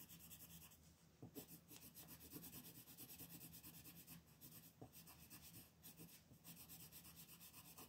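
A green wooden colored pencil, held by a hand with long nails, shades a beetle's horn on a flat white paper coloring sheet lying on a table. It makes quiet, continuous rubbing and scratchy strokes with bright grainy texture, over a faint steady low hum.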